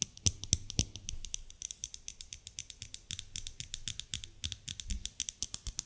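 A solid white bar of soap, held in the hands, is tapped and scratched with long nails. The result is a quick, irregular run of dozens of short, dry clicks and ticks with bright, crisp highs and a soft low thump under some, each dying away almost instantly.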